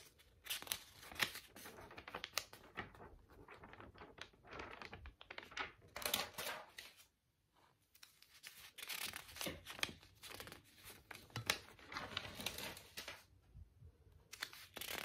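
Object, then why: Paper spiral notebook. Long pink nails pinch and lift single page corners of a large lined-paper spiral notebook and turn them, crinkling the paper, while the hand briefly waves. Dense, crisp, bright crinkles and rustling page turns come in quick bursts, with a short near-silent pause around the middle.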